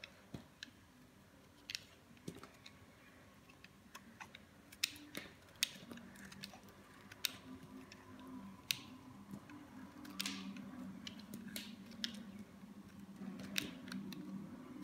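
A metal blade cuts and shaves crumbly slices from a small, solid green bar of dry soap held in the fingers. The sound is a series of sharp, bright, dry crackles and snaps scattered over a quiet, steady low hum. Each snap dies away almost instantly.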